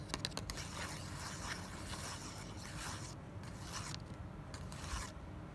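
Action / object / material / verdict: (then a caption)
scrape / small thin kraft cardboard card / cardboard / none. A small, thin kraft cardboard tag held in the hand is scratched and tapped with long black nails. A few quick, dry taps at the start give way to soft, bright scratching rasps that come in short strokes over a low background rumble.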